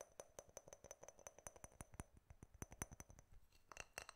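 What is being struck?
Glass jar with metal screw lid.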